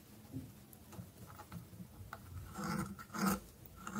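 A thin, solid orange stick of dry soap is held in the fingers while a dark metal blade scrapes and whittles its tip. Quiet, dry scraping and crumbling rasps come in short, uneven strokes, with a few louder, brighter scrapes toward the end.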